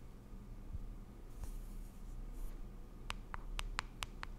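A small, round, pink plastic cushion foundation compact, closed and hollow, is held in both hands while long acrylic nails scratch and tap its lid and side. Soft, faint scratching and rustling come first, then six sharp, bright clicky taps with almost no ring close out the clip.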